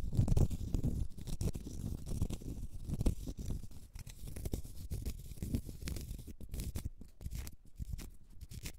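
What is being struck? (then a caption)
Small round cork stopper. A small, solid, round cork stopper is scratched with long red nails across its face and side. The result is a dense, muffled, low scratching made of rapid, dry strokes, with faint bright rasps that fade toward the end.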